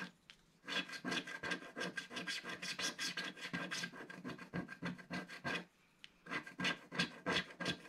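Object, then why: Black-coated scratch-art paper scraped with a thin wooden stick. A thin wooden stick scrapes the black coating off a flat black-coated scratch-art paper page, making a quick run of dry, raspy strokes with a bright, papery hiss. The strokes come in a steady, fast back-and-forth rhythm, pause briefly, then resume.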